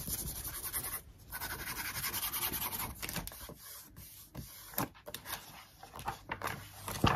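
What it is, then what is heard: Glossy paper magazine page. An open glossy paper magazine lies flat on a wooden desk while a wooden stick or pencil traces and scratches over a photo page, with long acrylic nails resting on the page. The result is a steady, bright, papery scratching and rubbing with brief pauses, ending with sharper crinkly flicks as a page is flipped.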